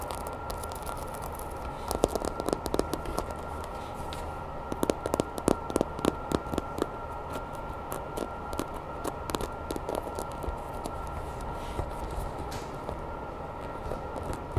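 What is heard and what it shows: Long red nails tap and scratch the textured skin and spines of a grey hollow vinyl Godzilla toy figure held in the hands. Quick, dry, clicky taps with brief bright edges come in irregular bursts over a soft, steady scratching texture and a constant low background hum.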